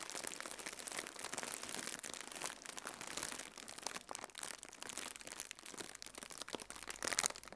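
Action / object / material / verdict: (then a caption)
scrape / plastic air-filled cushion packaging / plastic / none. Fingertips with red nails squeeze and crinkle a hollow, blue plastic air-filled cushion used as packaging. The result is a steady, quiet stream of bright, crackling crinkles with sharp little snaps and almost no low end.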